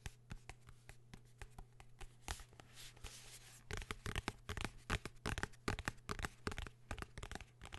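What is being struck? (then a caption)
Hardcover notebook cover. Fingertips scratch and tap the cover of a blue hardcover notebook, held upright and then laid flat. Soft, dry scratching and light taps come first, then a busier run of sharper, brighter taps in an irregular, rapid rhythm over a steady low hum.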